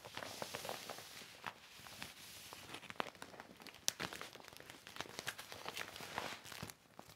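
A large, thin, flat silver vinyl plastic sheet (the back of a deflated mat) lying on red carpet is wiped with a yellow cloth, then smoothed and rubbed with the palms and fingertips. The result is continuous bright crinkling and rustling with many short, sharp crackles throughout.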